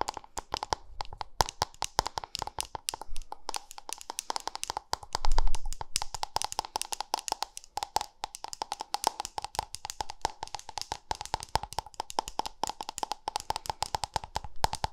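Long manicured nails rapidly tap and scratch the lid and sides of a small, round, white-pink plastic cosmetic cream jar with a screw lid, seemingly hollow and held close to the microphone. About a hundred crisp, clicky taps run in a fast, continuous stream over a steady hollow ring near 1 kHz. A louder rubbing swell comes in briefly around five seconds.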